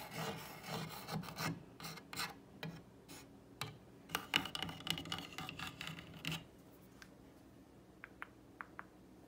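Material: Wood.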